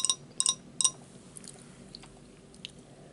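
A drinking glass is tapped during a meal of spinach, mushroom and garlic pizza rolls and potato chips, giving a quick series of bright, high-pitched clinks that die away almost instantly. Softer faint clicks follow over a quiet background.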